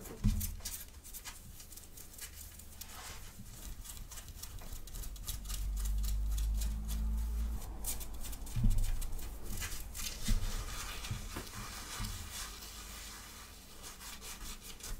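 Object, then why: Cotton sweatshirt fabric. Long dark-painted fingernails scratch the fabric of a worn grey cat-print cotton sweatshirt on the chest and near the neckline. The result is a quiet, rapid, uneven rasping over a low, muffled rumble, with a few louder brushes standing out along the way.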